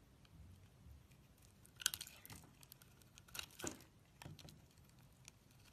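A utility knife blade shaves curls from a solid purple bar of soap and scrapes across its surface. Quiet, bright, crisp scraping and crackling come in short bursts, the sharpest near the middle and again toward the end, with little low rumble and almost no ring after each stroke.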